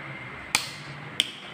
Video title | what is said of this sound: 4 Februari 2021 | Coba kita pukul bunyinya lemah